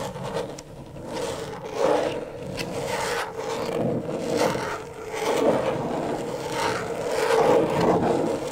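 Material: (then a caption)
Plastic. Long stiletto nails make slow scratching strokes across the plastic surface of a flat, thin, backlit rectangular LED tracing pad. The result is a steady, dry scraping that swells and fades with each stroke, centered in the midrange with little bass and only a faint high hiss.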